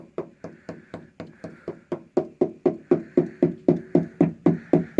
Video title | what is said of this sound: 79 C15 (Bulma) EP 2 | that all sounds like metal